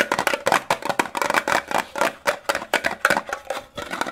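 A small, hollow, rectangular green printed metal Disney fruit candy tin is held in both hands and tapped and scratched quickly with fingertips and short nails. The result is a rapid, irregular stream of short, dry metallic clicks and taps with a bright, tinny ring around 1.4 kHz and scratchy texture between them.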